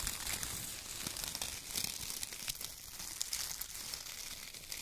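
Fingertips scratch and press a pile of thin brown kraft paper strips while hands crumple bunches of them. A soft, continuous bright crinkling and rustling with quick crackly snaps fills the clip, with little low end.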